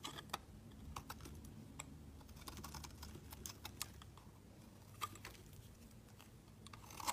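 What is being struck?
Bar of soap shaved by a metal blade.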